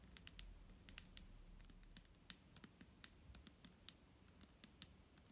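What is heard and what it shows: Fingernails tap a clear plastic micellar water bottle filled with liquid, making about 24 quick, bright, clicky taps in an uneven rhythm. Each tap dies away almost at once over a quiet, low background rumble.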